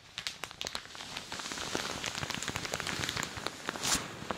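Fingertips and long dark nails tap and scratch across the top and sides of a thin plastic shower cap on a dummy head. The result is a dense, bright patter of light crinkly taps like rain. Near the end comes a louder, brighter scratching swish.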